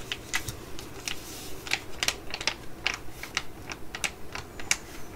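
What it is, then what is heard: Full foil sheet-mask sachet tapped with nails. A full, flat laminated foil sheet-mask sachet is held in the hands and tapped and scratched with long nails. About eighteen sharp, bright clicks and short crinkly scratches come at an uneven pace over a steady low hum, each dying away almost instantly.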